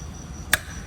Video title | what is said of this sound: วิธีเช็ควาล์วรั่วของโรงกลึงบิ๊กบุรีรัมย์ | ถ้าเกิดใครทำฝาบอยตบมาดูก็จะพอรู้แล้วว่ามัน โอเคไม่โอเค